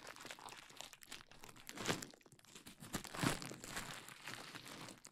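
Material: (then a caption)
Plastic. A large sheet of clear plastic bubble wrap draped over a dummy head microphone is scratched, squeezed and popped with fingertips and long nails, then crumpled. The result is a dense, bright crinkling and crackling texture, with louder sharp pops standing out near 1.9 and 3.3 seconds. The overall level stays quiet throughout.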